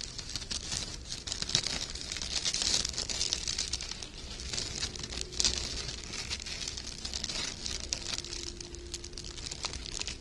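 Loops of gold sheer wired ribbon are held open and rubbed and crinkled between fingers with short red nails. The thin, light fabric gives a continuous, bright, dry crinkling and rustling, with quick crackly bursts over a faint low background rumble.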